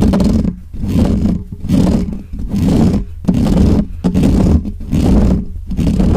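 Fingertips and nails of both hands rapidly scratch the hollow metal mesh grille of a black Blue Yeti USB microphone, right up close to the mic. The result is a loud, dense, rumbling scratch heavy in the lows. It comes in roughly rhythmic surging bursts with brief dips between them, almost like a growling roar.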